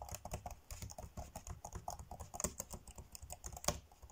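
Fingertips tap fast on the dark grey plastic chiclet keys of a laptop keyboard, typing. The result is a quick, uneven stream of short, dry clicks, each with a soft low thump and a bright tick that dies away almost instantly. A few sharper, louder taps stand out, the strongest near the end.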